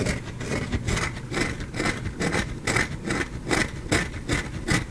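A solid white carved bar of soap is held in the hand and scratched and scraped with fingernails, shedding fine soap flakes. Dry, bright scraping strokes repeat at a loose rhythm of roughly two to three per second, each with a band near 2 kHz, over a constant low rumble.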